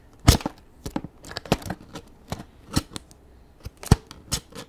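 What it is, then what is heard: Cardboard box tapped with long nails. Extra long acrylic nails tap and scratch the front and sides of a medium, hollow, printed cardboard toy kit box. A quick, irregular run of short, dry taps lands with a low, hollow thump and a bright, crisp click on top, and each tap dies away almost at once. Faint scratchy rustles fill the quiet gaps between them.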